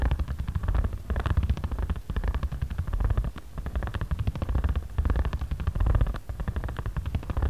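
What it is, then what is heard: Paper origami pad. A ridged jade roller head is rolled and rubbed back and forth over a flat, patterned origami paper pad held down by fingertips. It makes a steady, dense stream of rapid, low, rumbling ticks and scratches, with brief dips where the stroke changes direction.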